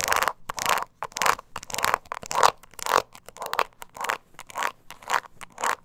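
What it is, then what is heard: Embossed leather mini purse scratched. Long nails scratch the embossed sides of a small, hollow, glossy croc-textured leather mini purse held in the hand. The result is a series of short, dry, rasping scrapes that rise and fade about twice a second in an uneven rhythm. The sound centers near 1 kHz with bright, hissy edges and almost no low end.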